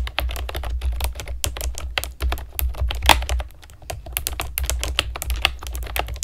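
Long nails and fingertips type steadily on a compact, typewriter-style keyboard with round plastic keycaps and a hollow plastic body. Each key makes a sharp, bright clack that dies away almost instantly, over a steady low rumble. A brief pause just before the four-second mark breaks the rapid rhythm.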